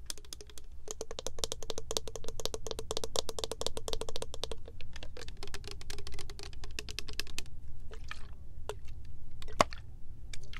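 Long nails tap quickly on the gold cap and body of a tall, clear plastic body mist bottle with green print, filled with liquid. The result is a dense run of sharp, bright clicks with a faint midrange tone, over a steady low rumble. The tapping thins out into scattered taps toward the end.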